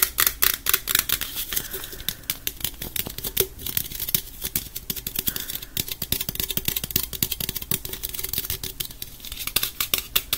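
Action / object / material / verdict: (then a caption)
tap / aluminum drink can / aluminum / none. A small, hollow gold Pepsi aluminum drink can, held in both hands, is tapped and scratched with fingertips and nails. The result is a rapid, irregular stream of bright, dry ticks and scratchy rustles that die away almost instantly, over a faint steady low hum.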